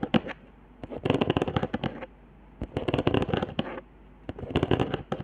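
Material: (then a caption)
Cardboard. Long nails scratch along the hot-glue lines and dots of a flat, handmade cardboard trigger board, ending near the glue spiral. Quick, dry crackling ticks come in three bursts separated by quiet pauses, bright but mostly low-to-mid in tone, with each tick cutting off almost instantly.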